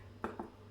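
A fresh Irish soda bread loaf, just out of the oven, is tapped twice to check whether it is done. Two short, dull, hollow knocks sound over a low steady hum. The hollow sound shows the loaf is baked through.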